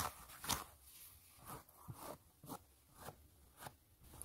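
Long nails and fingertips scratch the upper of a gray mesh knit fabric sneaker, making soft, rough crunching scrapes. The scratches come in repeated short strokes with bright, hissy high end and quick decay over a quiet background.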